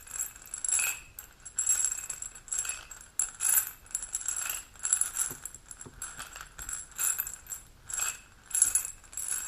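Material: Glass.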